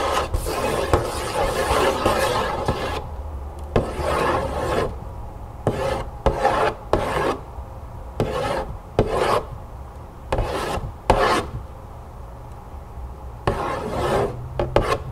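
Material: Cardboard.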